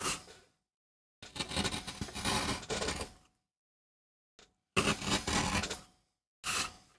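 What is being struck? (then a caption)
MDF printing block carved with a gouge. A gouge carves a rose design into a small, flat, solid MDF relief printing block held by the fingertips. It makes dry, bright scraping cutting strokes in bursts, some long and grainy and one very brief, separated by silence.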